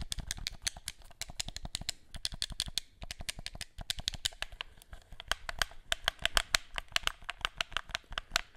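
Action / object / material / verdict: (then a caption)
tap / plastic game controller / plastic / none. A black plastic gamepad held behind the microphone has its buttons and triggers clicked and rattled with fingertips. The result is a rapid, uneven stream of sharp, dry, bright clicks with almost no ring, with light rattling between them and occasional louder clacks.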